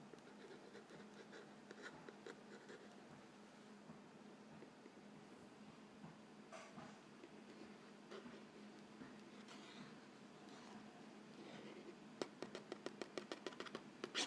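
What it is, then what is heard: Cardboard cracker box. A fingertip traces and taps the narrow side panel of a Vegetable Thins crackers box, a hollow printed-cardboard box filled with crackers. Quiet, dry scratching and rubbing continue through most of the clip, then end in a quick run of crisp, light taps.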